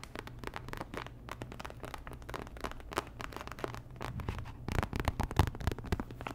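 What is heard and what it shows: Long nails tap and scratch a small, thin, flat, sealed printed plastic sticker packet, making rapid dry ticks and crinkly scratches over a steady low hum. The tapping grows louder and denser near the end before easing off.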